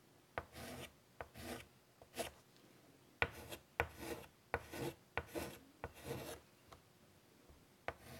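White chalk is drawn across a large, flat, wood-framed chalkboard in a series of short strokes. Each stroke begins with a sharp tap, followed by a bright, dry scratching rasp, with quiet pauses between strokes.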